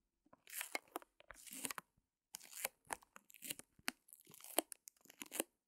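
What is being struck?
Plastic-wrapped canvas back with wooden frame.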